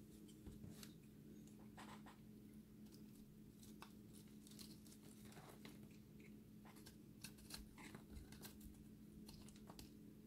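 A utility-knife blade shaves a solid, dry recycled soap ball with an orange ring and a blue center. Quiet, dry scraping strokes give off bright, crisp bursts of crumbling and crackling over a steady low hum. The soap flakes and crumbles away under the blade.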